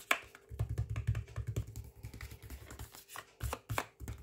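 Fingertips tap and scratch across the front of a full, flexible plastic microwave rice pouch lying flat. The sound is a run of soft, dull taps with a low thump and brief crinkly scratches that brighten into high rustle, each dying away almost at once.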